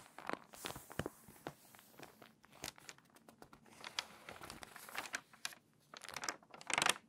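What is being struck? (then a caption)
Glossy paper magazine. A hand turns a page of an open, crinkly, water-damaged glossy paper magazine and rubs the new spread flat with its fingertips. Dry, bright crinkles and sharp crackling snaps come in quick, uneven bursts with almost no low end or ring. The sound builds to a louder rustling surge near the end.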